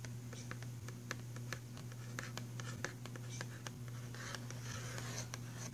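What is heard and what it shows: Fingernails scratch and tap rapidly on the cover of a printed cardboard box filled with pastel pencils. Quick, sharp, bright taps sit over a dry, scratchy rustle, with a steady low hum underneath throughout.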